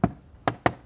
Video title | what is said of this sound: REVIEW BUILD QUALITY ADV 160 VERSI KONSUMEN - #tmcblog | samping kayak kanan kiri semua tebel kayak gitu